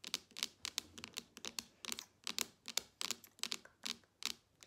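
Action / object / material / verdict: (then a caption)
tap / smartphone glass screen / glass / none. Long nails tap the glass screen of a smartphone lying flat on a table, giving about twenty quick, sharp clicks with no ring. The taps are dry and bright, with almost all of their energy in the high frequencies.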